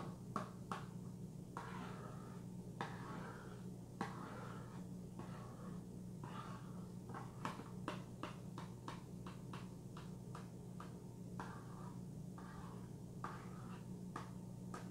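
A long acrylic fingernail taps along the front and lower edge of a small, closed orange cardboard box of Vitron-C iron tablets, and the box is tilted by the end. The taps are short, dry clicks with almost no ring, some spaced and others in quicker runs. A steady low hum sits underneath throughout.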